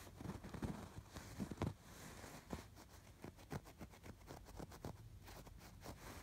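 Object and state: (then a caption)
Embroidered fabric pillow. Fingertips and nails scratch along the hexagon stitching of a soft stuffed fabric pillow with raised colored embroidery. The sound is a series of quiet, low, muffled scratches and soft thumps, with several louder strokes standing out in the first two seconds.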